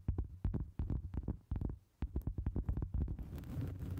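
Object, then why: Round cork board. Long acrylic nails tap and scratch a round, solid cork board resting on the microphone in a steady rhythm. Dull, deep, close-up thumps dominate, with a brief quiet gap just before the two-second mark. In the last second the tapping turns into a brighter, continuous scratching texture.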